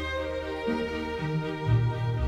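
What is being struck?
Nothing is struck.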